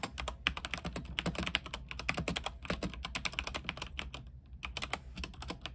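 Fast fingertip typing with both hands on an RGB mechanical keyboard with white plastic keycaps on an aluminium frame produces a dense, rapid stream of short, bright clacks. The keystrokes blur into a continuous clatter with only brief gaps, over a steady low hum.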